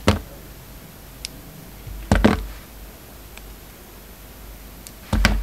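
A hand-held solid soap bar with black and white stripes and a red edge has its surface shaved and scraped with a utility knife blade. Short, dry scraping bursts come at the start, around two seconds in and near the end, with faint light ticks between them. Each stroke is low-heavy and stops almost at once.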